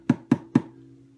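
Three knuckle knocks on the arched wooden back of an Aklot double-neck bass/tenor ukulele give short, hollow, woody thuds centered around 250 Hz, each with a soft lingering low ring. The back sounds quite resonant and is very thin, which should help its resonance.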